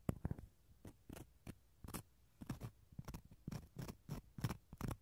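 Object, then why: Dried gourd shell half scraped with a wooden toothpick. A wooden toothpick scratches the rough, fibrous inside of a small hollow dried gourd shell half held in the hand. A quick, irregular series of short, dry scratching strokes sounds, mostly low and hollow with a faint bright rasp on each stroke. Each one stops at once with no ring.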